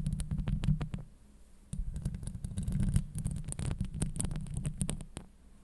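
Long acrylic nails scratch and tap across a hollow steel mesh microphone grille, producing a deep, muffled, rumbling scrape dominated by low boomy tones. Many quick, dry clicks run over it, with a brief quieter pause near the one-second mark before the scratching resumes.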